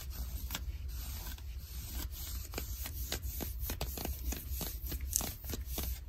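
Long nails scratch light blue denim jeans on the leg near the seam. A steady series of quick, raspy scratching strokes repeats throughout, with bright fabric texture over a low, constant rumble.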